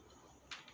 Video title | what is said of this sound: homemade breakfast pie | It's got that crunch test. You can hear it crunch.